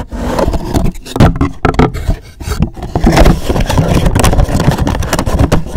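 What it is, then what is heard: Cardboard gift box scratched. Fingernails scratch a hollow, black rigid cardboard gift box with a gold logo after it is turned to another side. The result is a rough, bursty scraping with a heavy low, hollow rumble, little bright content, and short gaps between strokes.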